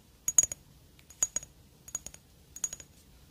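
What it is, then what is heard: Glass perfume bottle tapped with fingernails. Long dark fingernails tap a square black glass perfume bottle with a cylindrical cap, held close to the mic. The taps come in four quick bursts of bright, sharp clicks that fade almost instantly, each leaving a faint high glassy ring.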